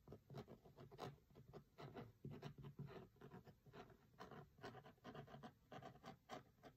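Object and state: Cloth-covered hardcover book.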